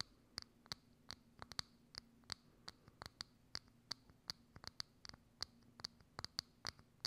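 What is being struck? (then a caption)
Clear plastic dome lid. Long acrylic nails scratch and tap across a hollow, thin, clear transparent plastic dome lid held over a microphone. About two dozen short, sharp, dry clicks and scrapes come at an uneven pace, each bright and high with a faint hollow tone. They die away almost instantly over a quiet background.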